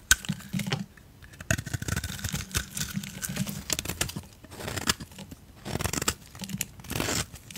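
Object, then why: Coated soap bar. A utility knife blade cuts and shaves a solid oval soap bar with a black glitter coating and a cream core, held in hands with long decorated nails, with other soap bars lying nearby. Repeated crisp scraping and crunching strokes sound like dry tearing and crinkling, with sharp clicks and soft low thuds between them.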